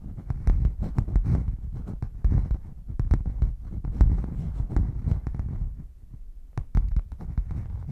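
Long nails scratch and tap the padded top and side edge of a red padded faux leather zip hard case, held flat while hollow and closed. Dull, low thumping taps come in quick irregular bursts over a soft, steady scratching rustle, each tap fading almost at once.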